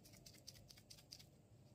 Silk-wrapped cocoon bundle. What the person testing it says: setelah kita kocok begini tuh, ternyata di dalamnya itu memang ada isinya